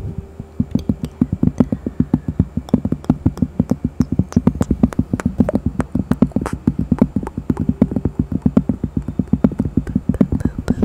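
A thin, solid, round cork coaster with a bear print is held close and tapped and scratched with long fingernails. The result is a rapid, steady run of short, dry, woody taps with a low-mid body and very little ring, and faint scratchy texture between them.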